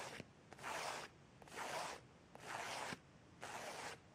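Fingertips and nails scratch and flick across the pages of a thin folded paper instruction leaflet with dense printed text, held in the hand. Four separate long, dry scratching strokes rasp across the paper in a steady, unhurried rhythm, each full in the mid and upper range. Short, sharp flicking clicks fall in the quiet gaps between them.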